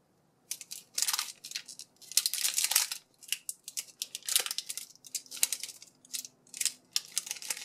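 Fingertips handle and squeeze a palm-sized Toy Story alien Tsum Tsum foam squishy sealed in a clear, crinkly plastic bag. The bag gives off quiet, bright, dry crinkling in irregular bursts with short pauses between squeezes. There is almost no low-end body, and each crackle dies away almost instantly.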